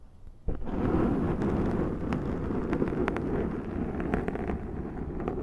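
Long nails scratch across the top of a large round black foam windscreen on a Zoom microphone. After half a second of near silence, a dense, muffled rumbling scrape starts abruptly and continues steadily, heavy in the low-mids with faint brief crackles over it. It eases slightly toward the end.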